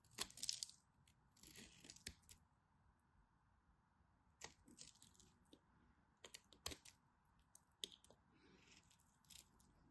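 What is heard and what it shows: A black craft knife carves crunchy flakes from a dry, solid teal and white striped bar of soap held in the hand. Bright, crisp scraping crunches come in short bursts and sharp snaps. Between them sits a faint, steady background hiss.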